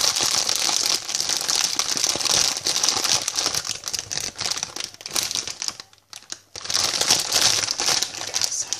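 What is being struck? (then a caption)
Plastic bag of sweets. A hand-sized white plastic sweet packet printed "I love sweets" and filled with sweets is rapidly tapped and scratched with long painted fingernails and crinkled in both hands. The result is a dense, bright crinkling and crackling that pauses into a brief near-silence about six seconds in before resuming.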